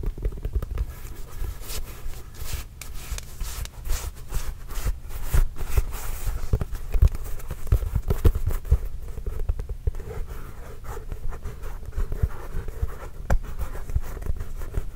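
A hollow, inflated Spalding NBA composite leather basketball is tapped with the fingertips while held close to the mic. The result is a dense run of soft, deep thumps centred around 82 Hz, each dying away almost instantly, with faint bright crackles from the surface between them.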